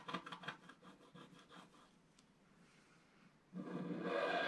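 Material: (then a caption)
Coated paper. A wooden stylus scratches near the right edge of a flat scratch-art paper page, black coating over gold foil, while the other hand holds the page. Quick, rhythmic dry scratching strokes fade to a faint hiss, then a louder, steady raspy scratch starts near the end.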